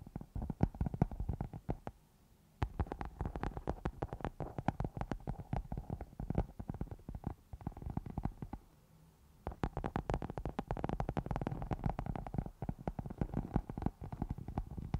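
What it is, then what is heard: Foam microphone windscreen scratched with nails. Long nails on both hands scratch a round black foam microphone windscreen, producing dense, rapid, muffled scratching that is heavy in the low end. The scratching runs in bursts, with brief silent pauses around the two-second and nine-second marks.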